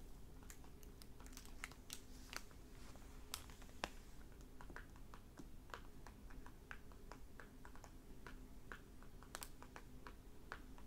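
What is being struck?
Hardback book with plastic-covered dust jacket.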